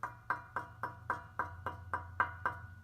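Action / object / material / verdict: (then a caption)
tap / steel exhaust muffler / steel / solid. A steel exhaust muffler on a Miata is tapped in a steady, evenly spaced series, each tap a short, dull knock that dies away almost at once with no ringing, over a faint low hum. It gives the ordinary, solid sound expected of a sound muffler.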